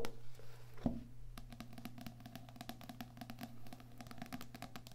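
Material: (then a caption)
Card. A small "Heart Thoughts" paperback with a card cover lies flat while fingernails and fingertips tap and scratch its back cover, then its front card cover. There is a quick, irregular run of soft, dry clicks and light scratches over a steady low hum, with one louder thump near the start.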